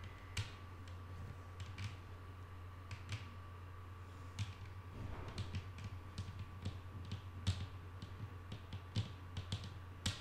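Long painted nails of both hands tap a flat, solid wooden tabletop in a soft, irregular series of short, bright clicks. Each tap dies away almost instantly over a steady low hum and a faint constant mid-pitched tone.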